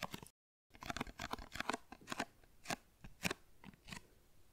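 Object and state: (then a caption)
Cardboard tea box. A tall printed cardboard tea carton, held upright in front of the microphone, is tapped and scratched with the fingernails. It makes a rapid series of short, dry, crunchy clicks and scrapes with bright edges and almost no ring. There is a brief silent gap near the start.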